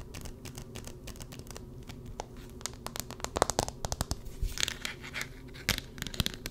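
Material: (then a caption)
Plastic. A handheld smartphone in a black-edged plastic case with a white marble-pattern card-holder back is tapped and scratched with long red-painted nails close to the microphone. Dry, crisp taps and crinkly scratches come in quick irregular bursts over a steady low hum, growing louder and denser in the second half. Each tap stops dead with no ring, leaving sharp clicks and rough, bright scraping.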